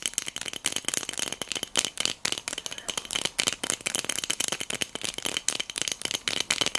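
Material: Glass.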